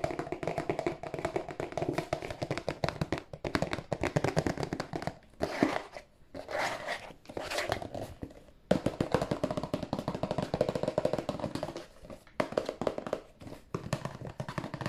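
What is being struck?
Cardboard tissue box.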